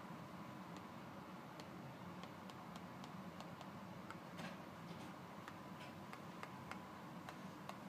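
A fingertip and nail repeatedly tap the blue end panel of a closed, hollow Colgate 60 mL toothpaste box made of thin printed paperboard, lying on a cardboard surface. Quiet, light ticking taps with bright, crisp edges come at an irregular pace over a steady low hum and soft hiss.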